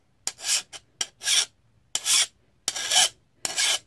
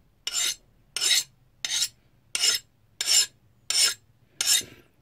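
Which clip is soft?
The first.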